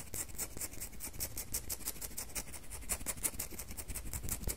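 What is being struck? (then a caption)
Solid bar of soap. A solid red bar of soap is rubbed and scraped with long fingernails. A quick run of short, bright scratching strokes repeats steadily with crisp high-pitched hiss over a faint low rumble.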